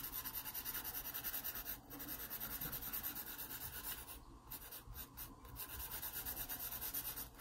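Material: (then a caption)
Paper. A graphite pencil rubs shading strokes across a drawing of a pear on an open paper sketchbook page. The sound is a soft, steady, rhythmic scratchy hiss, bright and papery, with a brief lull about two seconds in and a quieter stretch past the midpoint before the strokes resume.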